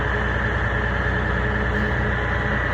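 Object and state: Nothing is struck.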